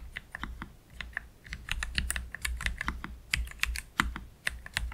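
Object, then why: Low-profile mechanical keyboard with plastic keycaps. Fingertips from both hands type slowly on a black Keychron K3 Pro low-profile mechanical keyboard with Gateron Red low-profile switches and plastic keycaps, resting on a desk mat. The result is a steady run of short, bright clacks over a soft low thump, each dying away almost instantly.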